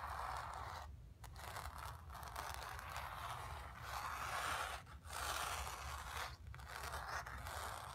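Long nails scratch across the painted fabric of a stretched canvas, making a steady, dry scraping rasp centered in the midrange with a faint low rumble beneath. The scratching runs almost continuously, broken by a few brief pauses where the nails lift or change direction.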